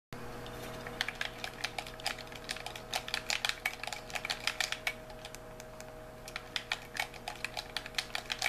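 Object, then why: Plastic handheld game controller. A white, hollow plastic handheld game controller is held in both hands while thumbs and fingertips rapidly press and click its buttons and sticks. The result is an uneven stream of sharp, bright plastic clicks with almost no ring, heard over a faint, steady low hum.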